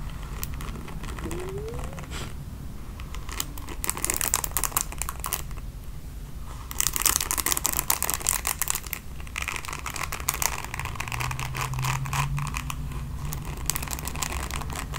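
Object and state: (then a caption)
Plastic paddle hairbrush bristles being scratched. Long nails scratch across the bristle pad of a red plastic paddle hairbrush, making a steady, dense, bright crinkling scratch over a low background hum. The scratching grows louder and brighter about halfway through, then eases back slightly while continuing.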